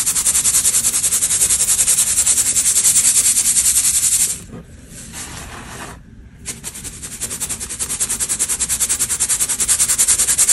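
A small round stainless steel mesh hand sieve filled with white baking soda powder and clumps is shaken side to side over a large metal tray. The powder rubs and sifts through the mesh in a steady, bright, hissy rasp of rapid rhythmic strokes. The sound drops to a quiet pause in the middle, then the shaking resumes.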